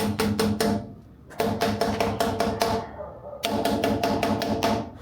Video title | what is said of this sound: Retrospectiva 2025! Resgate dos VW abandonados, DeLorean até o SEMA 2025 e comprei um autódromo! | É igualzinho os 4. Igualzinho, não tem diferença não nenhuma.